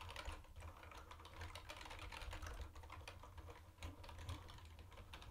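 A mint-green plastic retro keyboard with round white plastic keycaps is typed on fast with the fingertips of both hands. The result is a dense, continuous run of short, bright plastic clicks over a low, steady rumble, with a few louder keystrokes standing out.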